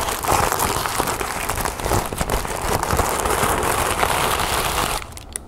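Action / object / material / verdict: scrape / thin tissue paper sheet / paper / none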